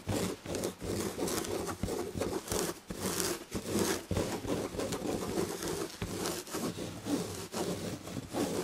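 Long red-painted fingernails of both hands scratch the firm padded back of an upholstered chair covered in red and gold damask chenille/tapestry fabric. The result is a steady, rhythmic scratchy rasp of overlapping strokes with brief dips between them, carrying a bright, fibrous texture over a midrange body.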